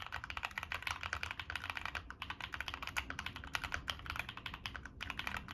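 Fingertips of both hands type steadily on a Monsgeek M1 mechanical keyboard with NK Cream switches, a dark metal case, a POM plate and purple and black plastic Cherry-profile keycaps. Rapid, crisp, clacky keystrokes run continuously, each bright and short with almost no ring and only a faint low thud underneath.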